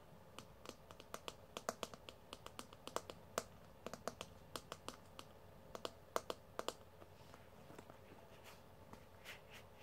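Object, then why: Plastic paddle hairbrush with wire pin bristles. A hand-sized pink plastic paddle hairbrush with a hollow handle and wire pin bristles is held in the hand while fingertips flick and strum the bristles and tap its plastic back. The result is a quiet run of about 35 sharp, bright clicks and snaps, each dying away almost at once, with a faint tonal ring near 660 Hz. The clicks sit over a low, steady background hum.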